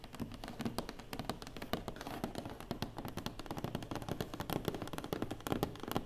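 Rapid fingertip and nail taps on a closed cardboard box, dull and hollow with a faint low thump.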